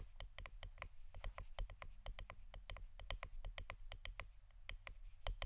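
Fingernails tap quickly on the wooden part of an incense stick holder, making a fast series of dry, bright clicks that stop almost instantly. A steady low hum runs beneath the taps.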